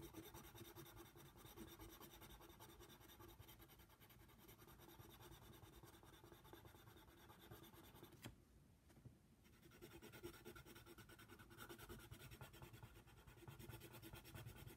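A red wooden colored pencil held in the fingers scratches and shades inside a giraffe's mouth on the white paper page of a coloring book. It makes a steady, soft, dry scratching and rubbing with quick, uneven strokes, broken by a brief quieter pause near the middle before the shading resumes.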